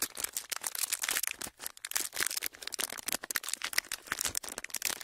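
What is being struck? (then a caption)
Thin clear plastic wrapper. A thin clear plastic packaging sheet, folded into a small pleated strip that is hollow and empty, is held in both hands close to the microphones and squeezed and crinkled with the fingertips. The result is a dense run of bright, crackling crinkles with almost no low end, with a brief lull just after the first second and a half.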